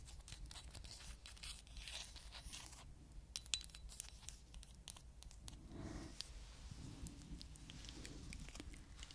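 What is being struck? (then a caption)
Small glass perfume bottle. Long acrylic nails tap and scratch across a small, apparently full glass perfume bottle with a teddy-bear-shaped cap, held in hand. The result is a quiet, steady stream of quick, bright ticks and scratchy rasps over a low, soft background rumble.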